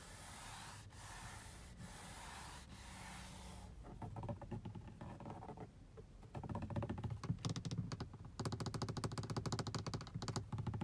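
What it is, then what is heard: Textured plastic car dashboard. Long blue-painted nails and fingertips tap and scratch across a large, solid, hollow-backed black grained plastic car dashboard panel beside an air vent, with the hand briefly reaching the vent edge. It opens with a few seconds of steady, hissy scratching broken by brief pauses, then shifts into rapid, uneven, dull tapping with short, deep, hollow thuds and little ring, growing louder and denser toward the end.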